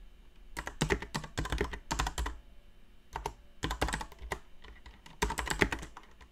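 Long dark-painted nails tap the plastic keycaps of a mechanical keyboard, with both hands typing on it. Quick runs of sharp, bright clacks arrive in several bursts separated by short pauses, each keystroke dying away almost at once over a faint low hum.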